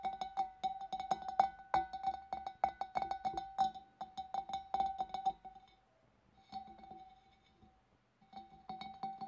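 Long nails tap rapidly from above on the inner wall of the neck of a large, empty, hollow clear glass fish bowl. The quick, uneven clicks each bring out a clear glassy ring near 780 Hz with bright overtones. The tapping eases into a soft, fading hum for a couple of seconds before it starts up again.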